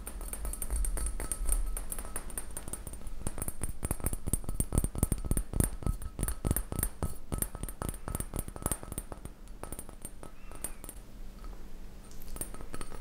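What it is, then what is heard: Glass beaker tapped with fingernails. A small Pyrex glass beaker, possibly tempered glass, is tapped with fingernails in quick, irregular taps. Each tap is a short, dry click with little ring, over a low steady background hum.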